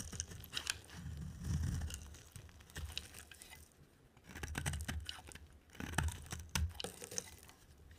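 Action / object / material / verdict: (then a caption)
scrape / soap bar cut with a knife blade / soap / none. A solid, dry oval bar of soap, white inside with a green rim, is held in the hand and shaved with a utility knife blade. Crisp, crunchy scraping strokes come in uneven bursts, with bright crackling edges over a soft low rumble. Quieter pauses fall between the cuts.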